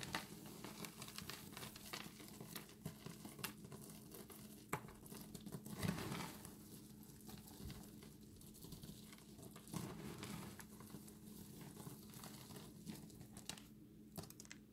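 Handfuls of dry recycled soap chips are lifted from a pile resting on granite and trickled back down onto it from above. The result is a quiet, continuous pattering and crinkling of many small pieces, with occasional sharper ticks over a steady low hum.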